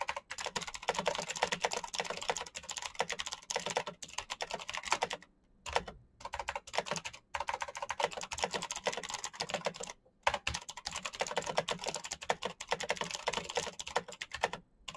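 Both hands type fast with their fingertips on a black plastic mechanical keyboard with backlit keycaps. A dense, steady clatter of short, dry, bright key clicks runs throughout, broken by brief pauses around 5.5, 10, and 15 seconds.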